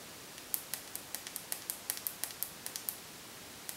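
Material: Faux leather.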